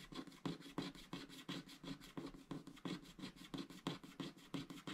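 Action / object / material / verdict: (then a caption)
scrape / wax-coated scratch art card scraped with a wooden stylus / coated card / none. A wooden stylus held in the fingers scratches the coating off a small shape on a flat, black, wax-coated scratch art sticker sheet of thin card lying on a grey mat, while the other hand holds the sheet still. The sound is continuous dry, rasping scratching in quick, fairly regular strokes of about three per second. Each short stroke has a bright, hissy edge over a soft low-mid body.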